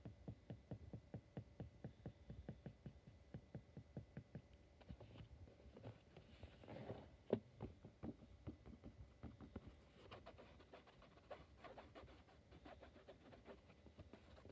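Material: Cotton fabric.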